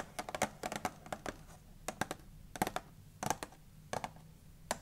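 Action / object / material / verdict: tap / cardboard candy box / cardboard / none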